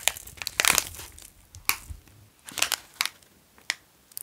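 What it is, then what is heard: Plastic snack wrapper crinkled. A long, full plastic wrapper of a Wasa pizza cracker sandwich is held in both hands and crinkled and rubbed with the fingers. The sound is a series of sharp, bright crackles and crinkles. They come in irregular bursts with quiet gaps between them.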